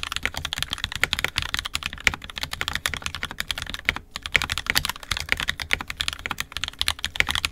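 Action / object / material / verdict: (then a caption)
tap / plastic mechanical keyboard / plastic / none. Both hands' fingertips type continuously on an NK65 Entry Edition 65% mechanical keyboard with a purple plastic case, red and black plastic keycaps, and lubed, filmed 67g Tangies switches. A rapid, steady stream of short, bright, clacky keystrokes dies away almost instantly, with little low end beneath them.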